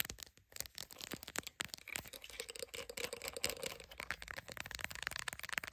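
Long pink acrylic nails rapidly tap and scratch the camera lens area and back of a smartphone in a clear plastic case resting on a phone holder. The result is a dense stream of crisp, bright plastic clicks mixed with dry scratching, with very little low end.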